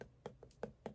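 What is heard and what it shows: Chilled ice globe facial rollers, cold from the fridge, are tapped in a quick series of short, dry knocks. Each tap has a clear mid-range tone around 470 Hz with a faint bright edge and almost no ring, and several spaced taps stand out over a quiet background.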